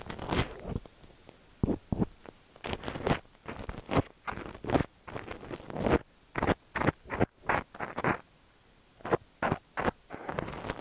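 A thin stainless steel ear pick repeatedly scratches inside the ear canal of a cream silicone dummy-ear microphone. The result is a series of close, dry scratching and crunching strokes in uneven bursts, separated by short quiet gaps.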